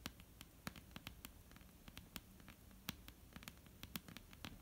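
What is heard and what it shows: Long, almond-shaped painted nails tap across a flat, solid, dark-brown wooden tabletop. The result is a quiet, irregular patter of sharp, bright clicks that die away almost instantly, over a soft, low, steady background.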